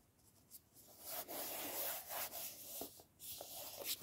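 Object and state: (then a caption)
Cloth-covered hardcover book. Fingertips and nails scratch and tap the spine and flat front cover of a closed red cloth-covered hardcover book, 'Twas the Nightshift Before Christmas, held in the hands. Soft, bright scratching rubs swell and fade, broken by a few light, dull taps.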